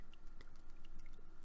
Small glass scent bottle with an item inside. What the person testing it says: you can hear it. You can hear it inside.